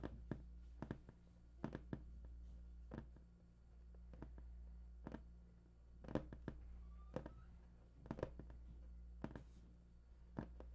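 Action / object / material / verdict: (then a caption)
tap / large cardboard box / cardboard / none. Fingertips tap and scratch the top of a large, hollow, printed cardboard PS4 box, producing a quiet series of short, dull knocks with soft scratching between them. A steady low hum runs underneath throughout.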